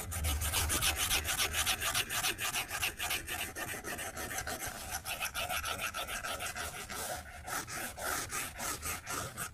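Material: Glass.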